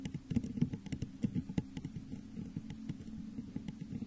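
Long nails tap rapidly along the sides of a hollow, textured clear glass vase turned upside down over a microphone. The result is a dense patter of quick, dry clicks over a low, hollow resonance, with each tap dying away almost at once.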